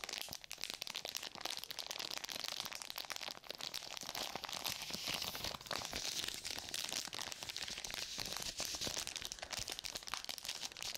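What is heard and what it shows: A sealed sterile surgical glove pouch of plastic and paper, with a flat, clear plastic front and gloves still inside, is gripped and crinkled with long nails and fingertips. The result is a dense, continuous crackling and crinkling that is bright and hissy, with almost no low end and quick, dry snaps that barely ring.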